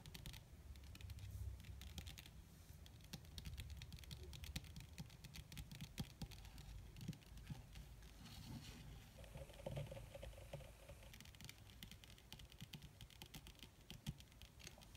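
Long red fingernails on both hands tap quickly on a flat, black, crinkled leather or faux leather surface. The result is a quiet, dense patter of short, dry clicks with soft low thumps underneath and a bright tick on top. The tapping runs steadily throughout with no ring after each hit.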